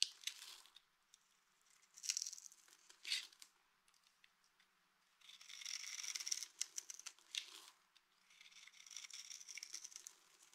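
A small, solid, mint-green dry soap bar with a textured surface is held in one hand and scraped with the metal blade of a green utility knife, shaving off curls and flakes. The scraping comes in bright, dry, crackly bursts with brief crisp ticks and almost no low end, separated by short quiet pauses.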